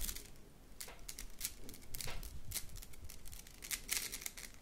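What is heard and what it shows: A red plastic slinky spring is stretched long and collapsed between the hands, its coils clacking together. The result is a quick run of bright, crackly clicks and rattling bursts over a low, steady rumble, with each burst dying away almost at once.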